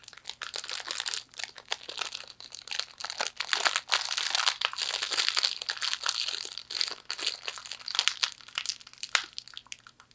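A small hollow fortune cookie in a printed plastic wrapper is crinkled and scratched by long nails. The result is a continuous stream of bright, crisp crinkles and sharp scratchy clicks that rise and fall in intensity, with no low end.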